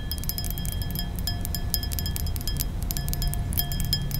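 Long nails tap and clink rapidly on the rounded bowl of a thin, nearly empty glass balloon brandy snifter. The taps give short, bright, chime-like rings with a steady high tone over a continuous low rumble.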